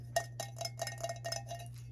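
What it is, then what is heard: Ceramic seashell planter. A pink vintage seashell-shaped planter is tapped lightly, giving a quick run of bright, chime-like clinks. The clinks ring around 680 Hz and die away quickly over a steady low hum. Each clink stands apart in a series of about eight taps.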